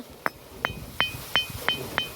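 A stone is struck six times and rings like a bell, each strike a sharp, bright clink with a high metallic tone near 3 kHz that fades quickly.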